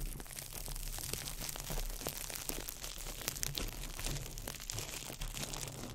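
A small ball of crumpled clear plastic wrap is crinkled by fingertips over the mic. It makes a steady stream of dense, bright crackles and sharp snaps over a low, constant rumble.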